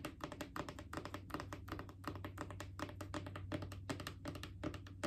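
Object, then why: Plastic wipes canister. Long acrylic nails rapidly tap a mid-sized hollow plastic Clorox disinfecting wipes canister, making quick, irregular clicky taps with a hollow knock around 312 Hz that die away almost instantly. A faint, steady low hum, possibly background music, runs underneath throughout.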